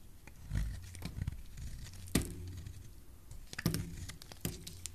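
A solid white bar of soap, held in the hand, is shaved with a utility knife blade. Quiet, soft scraping strokes are broken by a few sharper, crisp cuts with short bright clicks. The sound is mostly low and muffled, with very little ring after each cut.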